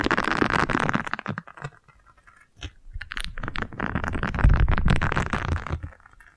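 A single round yellow silicone scrub pad with bristles is scratched with long nails and folded by fingers. The result is dense, bright scratchy rustling in bursts, with a brief quiet gap and low thumping underneath in the second half.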